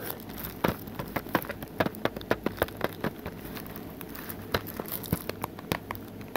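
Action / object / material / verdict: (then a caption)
tap / plastic DVD case / plastic / none. Fingertips tap on the cover of a hollow plastic Teen Titans Go DVD case, shown back then front. A steady run of quick, light plastic taps rises over a low, constant background hiss, each tap short and bright with almost no ring.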